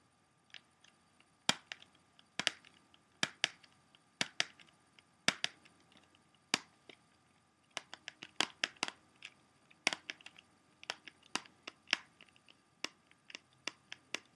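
Fingertips and short nails tap and scratch the back side of a small, hollow, closed plastic CD jewel case. About thirty-four sharp, dry, bright clicks and ticks come in an irregular series, each dying almost instantly, with faint scratchy rustling between them. The sound is quiet overall and has almost no low end.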